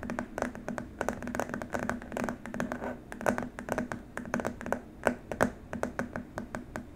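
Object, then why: Plastic keyboard wrist rest. Both hands tap and scratch with fingertips and short nails on a long, flat white plastic keyboard wrist rest. A rapid, uneven run of short, dry clicks and scrapes follows, each dying away almost at once over a steady low hum near 250 Hz, with a few sharper, brighter taps standing out.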